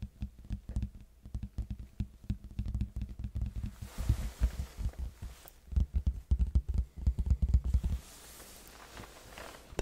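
A large, hollow red cardboard box is held sideways near the mic and tapped with fingertips on its face near the edge. The result is rapid bursts of dull, deep, boomy thumps with a short decay, separated by brief pauses. The tapping fades to a quiet, faint rustle near the end.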